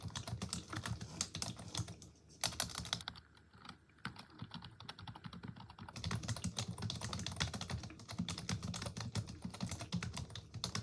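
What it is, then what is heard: Plastic computer keyboard. A black plastic computer keyboard is typed on continuously by both hands with long pink nails, producing a steady stream of quick clicking key taps with a low thud beneath and a bright clatter on top. Around two to six seconds the typing briefly thins and softens before resuming at full pace.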